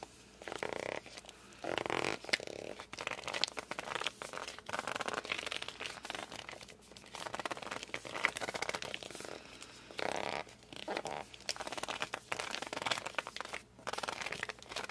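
Thumbs and palms grip and squeak on the glossy cover of a hardcover book. Short, bright rubbing squeaks, some centered near 2 kHz, come in dense clusters with brief pauses. The squeaks have almost no low end.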